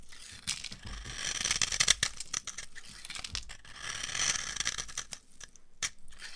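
A dry, translucent amber-orange bar of old laundry soap, held in the hand, is carved and scraped with a metal knife blade into crunchy flakes. Bright, dry crunching and scraping bursts come in a quick irregular run, with brief pauses between strokes.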